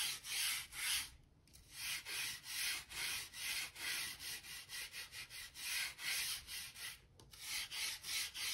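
A hand-held gap brush with stiff grey bristles and a blue handle scrapes and sweeps dirt and dust along the seams between the planks of a large solid oak plank floor. The strokes are a quick run of bright, hissy scratching sounds, about two and a half per second, with two short pauses in between.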